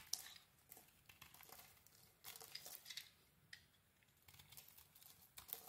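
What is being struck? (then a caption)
Bar of soap scraped with a small metal blade. A solid, rectangular bar of soap with a dark brown coating and a cream core is held in the hand while a small metal blade scrapes the coating off. Quiet, bright, crinkly scraping strokes come in short bursts with brief pauses between them, with almost no low end.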